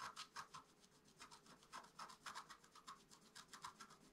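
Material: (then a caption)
Coated paper. A wooden stylus scratches small strokes into the coating of a flat, black-coated scratch-art card resting on a table. It makes a quick, steady series of short, dry, rasping scrapes with a bright papery hiss and a mid-pitched edge near 1 kHz. Each stroke is quiet and stops sharply, with almost no low end.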